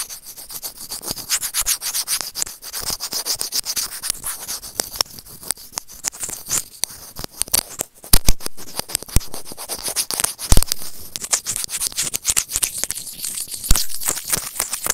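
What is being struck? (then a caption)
Small plastic earphone mic remote scratched with plastic tweezers. White plastic tweezers rub and scratch against a small, hollow white plastic earphone mic remote. The result is a dense, continuous stream of dry, bright scratching and crackling, with sharp little clicks and some louder scrapes in the second half.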